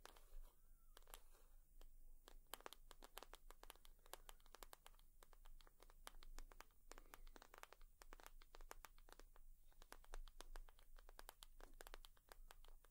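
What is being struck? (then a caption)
Leather purse. A leather purse is tapped and scratched with long nails, giving quiet, rapid, dry clicks and crinkly scratching. The brief, bright taps come in uneven bursts over a steady low rumble.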